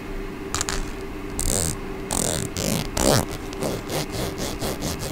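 Long painted fingernails strum and scratch across the teeth of a small, solid hot-pink plastic comb held close to the microphone. A series of raspy, bright scraping bursts rises over a low background hum, some quick and some drawn out.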